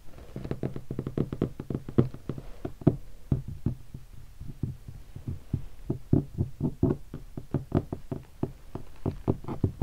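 An index fingertip taps and scratches on a black textured leatherette hardshell guitar case densely covered in vinyl stickers. A quick, uneven run of soft, dull, low thumps, each dying away almost at once, with quieter stretches in between and no bright edge.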